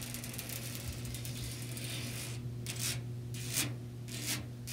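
Long nails scratch and rub across a white perforated expanded metal mesh panel set in a frame. A dense, bright rasping scratch runs steadily for the first half, then breaks into separate short bright scrapes. A low steady hum sits underneath throughout.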